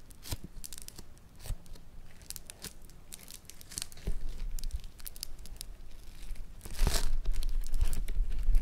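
A mound of yellow foam-bead clay is pressed flat with the fingertips and then folded. It gives off dense, irregular crackling and popping as the beads shift, with sharp bright snaps over a low rumble. The sound grows louder toward the end.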